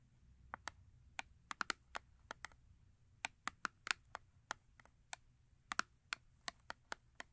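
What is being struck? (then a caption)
Small paperboard soap box. Long nails tap and scratch the front of a small paperboard Yardley soap box standing upright on fur. About 23 short, dry, sharp taps ring out at an uneven pace, each a bright click centered in the mid range that dies away almost instantly. A quiet, steady low rumble sits underneath.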